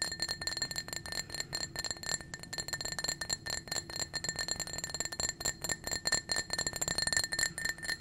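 A small, clear, blue-tinted hollow glass drinking cup, apparently empty and held in a hand, is tapped rapidly with painted fingernails. The fast, continuous clinking produces bright, glassy rings with a steady tone near 1.8 kHz and high shimmering overtones, each tap dying away quickly.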